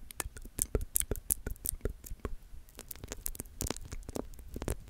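A bunch of soft orange feathers is held between the fingertips of both hands in front of a camera, stretched and rubbed together. Quick, crisp brushing crackles and bright, scratchy ticks come in rapid bursts over a low, soft rumble, each snap dying away instantly.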